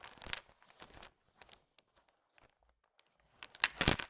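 A thin wooden stick pushes and stirs a heap of small, hard, sugar-shelled peanut chocolate candies (candy-coated peanut M&Ms). Bright, crunchy rattling and clicking come in dense bursts at the start, thin out to sparse scattered clicks in the middle, and swell into the loudest clattering near the end.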